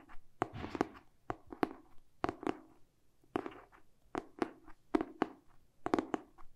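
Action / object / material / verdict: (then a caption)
tap / hardcover paper book with cardboard cover / cardboard / none. A medium-sized, solid hardcover paper book with a glossy printed cardboard cover is held upright in both hands and tapped and scratched with short pink-painted fingernails and fingertips. Dry, crisp taps in an irregular rhythm have a mid-range body and die away almost instantly, with soft scratchy brushing filling the gaps between them.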